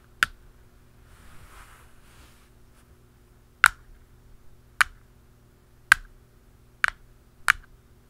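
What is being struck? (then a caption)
Plastic lid on a round canister. A black plastic lid on a hollow round canister is tapped with two pens, a blue plastic pen and a dark pen. Six sharp, dry clicks with a mid-pitched knock and a bright edge stand out against a quiet background. A soft rustle fills the gap after the first tap.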